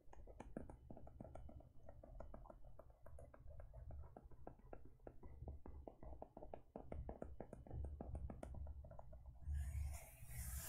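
Long nails scratch and rub the textured back of a closed teal faux leather e-reader cover held back side up on cloth. The result is a dense run of quick, dry scrapes and ticks over a low rumble, with a brighter, hissier rubbing swell near the end.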